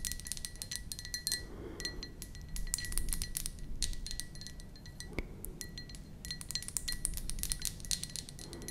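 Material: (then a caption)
Ceramic. Long nails tap rapidly around the rim and sides of an empty, hollow white ceramic mug with a flower print, producing a dense stream of bright, sharp clinks. A faint ringing tone near 2 kHz and a higher one carry beneath the taps over a low, steady rumble.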